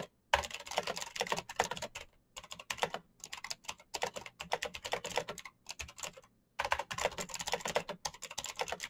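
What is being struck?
Plastic mechanical keyboard.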